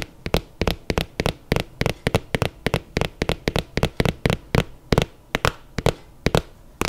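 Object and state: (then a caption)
Suede sneaker. Long nails scratch and rub the suede of an empty black suede sneaker with a white rubber sole, held sideways. This produces a steady, rapid series of short, dry, sharp clicks that stop instantly with no ringing, over a faint background hiss.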